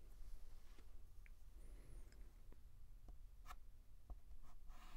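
A white chalk stick held in the fingers scratches and writes strokes on a flat black chalkboard. Faint, short scraping ticks sit over a steady low rumble, with a brief high squeak partway through and a brighter rasping stroke at the end.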